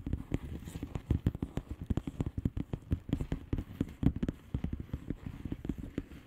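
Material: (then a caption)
Plastic. Long nails rapidly tap the bubbles of a flat blue plastic bubble wrap envelope. The result is a quick, steady stream of soft, dull, low-pitched taps with very short decay and almost no bright edge.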